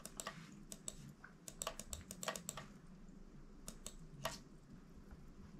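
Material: Plastic.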